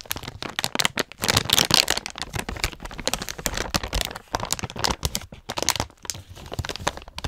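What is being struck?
Plastic snack pouch.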